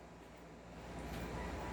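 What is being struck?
Nothing is struck.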